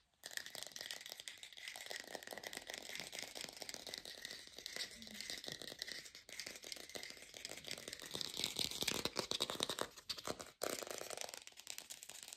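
An artificial plastic pear is tapped fast in a lo-fi recording, giving a dense, bright, crackly rattle of rapid clicks. The tapping runs steadily for about twelve seconds, with brief dips near 6 and 10.5 seconds, and has almost no low end or ring.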